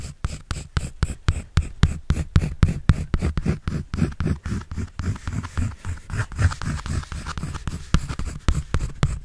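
A pencil draws and scratches across a white paper sketch pad held by hand, making a quick, uneven run of short, dry strokes at about four per second. Each stroke is a soft, muffled rasp with most of its weight in a low rumble and little brightness, dying away almost at once.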